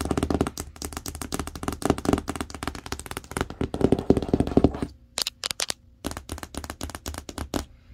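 Long acrylic nails tap and rub the printed screen image on a large, hollow printed cardboard TV box. Fast, dense clicking taps over a hollow low resonance fill the first five seconds. After a brief near-silent gap with a few sharp, bright taps, quieter tapping resumes.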